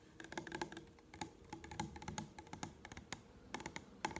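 Manicured nails tap and scratch along the label of a tall blue plastic solution bottle held up close. A rapid, uneven series of light, clicky taps with short scratchy strokes in between, several carrying a faint hollow ring around 870 Hz that dies away almost instantly.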